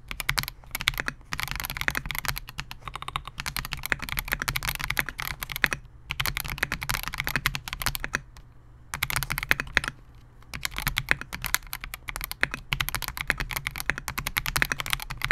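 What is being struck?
Mechanical keyboard with polycarbonate case and plastic keycaps.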